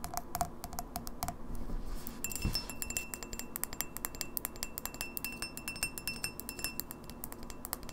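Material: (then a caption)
Glass. Long fingernails tap quickly and irregularly on the walls of a tall, empty, clear etched-glass pint glass with an etched logo, held hollow in the hand. The result is a dense run of short, bright, clicky taps, some with a brief glassy ring around 700 Hz, over a soft low background hum.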